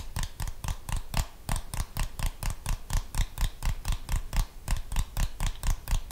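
A handheld plastic TV remote control with buttons, held in one hand beside the microphone, is tapped and scratched with the fingernails of the other hand. Quick, dry clicks come in a steady, somewhat uneven patter with short bright scratchy edges over a dull low thump. Each tap dies away almost at once.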